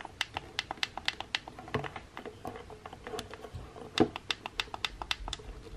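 Fingers with painted nails press and tap the buttons on the metal button plate of a pink plastic hair straightener with a black cable. A rapid series of short, sharp plastic clicks, bright and dry, lands in irregular bursts with almost no ring after each tap, with one louder click near the end.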